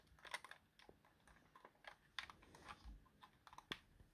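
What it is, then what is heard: Plastic game controller buttons clicking. A hand-held white plastic Xbox wireless controller with a hollow, hand-sized shell has its face buttons and D-pad pressed and clicked by the thumb. A quiet, irregular string of short, bright plastic clicks sounds with no ring after each press.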